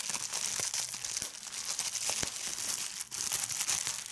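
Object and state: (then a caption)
Plastic bubble wrap being crumpled and popped. A large sheet of clear plastic bubble wrap is held close and crumpled and squeezed by fingers, popping its bubbles. A steady, bright crinkling hiss runs throughout, broken by sharp, short pops of varying loudness.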